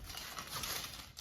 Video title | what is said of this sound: 10 Amazing Air Fryer Potato Recipes! Crispy, Delicious and Very Easy! | You hear how crispy they are.